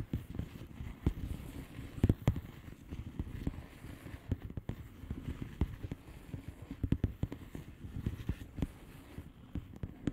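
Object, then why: Plastic bubble wrap envelope. Long painted nails on both hands tap and scratch across the bubbles of a blue plastic bubble wrap mailer lying flat. The result is a steady run of soft, dull, low-pitched taps with a faint scratchy texture underneath, each tap dying away almost instantly and with no bright edge.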